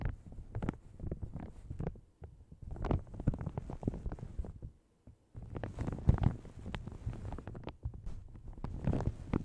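Long red nails and fingertips scratch and crinkle a light blue plastic shower cap stretched over a large hollow microphone. The result is a soft, dense stream of muffled crackles and rustles, heavy in low, boomy rumble. It continues irregularly with a brief pause about halfway through.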